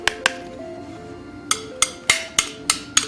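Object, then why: Metal credit card. A brand-new titanium credit card, just taken out of its packaging, is tapped eight times in an uneven rhythm. Each tap is a sharp, bright, high-pitched metallic click that dies away almost at once, over faint tonal notes in the background. The card sounds like metal, as expected.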